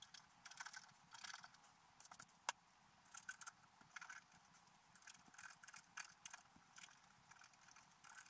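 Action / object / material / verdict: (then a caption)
scrape / black-coated scratch art paper scratched with a wooden stylus / coated paper / none. A wooden stylus scratches details into a flat, black-coated scratch art paper page. Quiet, dry, bright scratching comes in short irregular bursts with almost no low end, plus a few sharper ticks.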